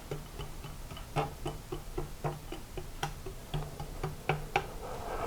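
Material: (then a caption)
Glass, steel. A glass plate clamped to the left front fork leg of a 1983 BMW R80ST is tapped repeatedly from top to bottom to listen for whether it rings. The taps are short, dull knocks that die away quickly without ringing, over a steady low hum. The left fork leg is judged to be in line.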